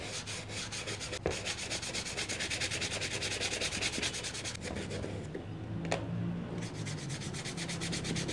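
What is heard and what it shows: A foam polish applicator rubs rapidly back and forth across the leather upper and toe of a black leather shoe held by hand; the shoe is hollow and empty with a rubber sole, and a polish tin sits nearby on the floor. The result is a steady, bright, hissy scrubbing with a quick even rhythm and a low undertone, broken by a couple of sharper knocks and a brief quieter pause before the strokes resume.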